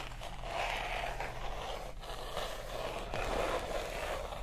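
Long acrylic nails slowly scratch and tap across the matte white paper pages and art prints of a large open art book held up. A steady, dry, papery scraping rasp carries throughout, with soft taps standing out briefly, over a faint low hum.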